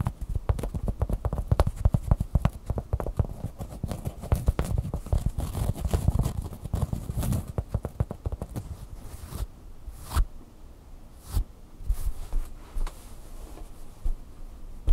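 Long nails scratch the fabric near the beak and eye of a red plush bird toy. A dense, rapid run of soft, low-heavy scratching fills the first nine seconds, then thins into sparser, isolated scrapes with quiet gaps between them.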